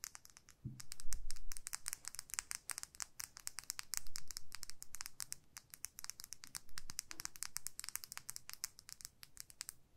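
Long nails scratch and tap along a small clear plastic lip gloss tube filled with pink gloss. A dense, irregular stream of quick, bright clicks and scratchy taps plays throughout, with a few soft low thumps near the start. The sound is quiet and crisp, with each tap stopping almost at once.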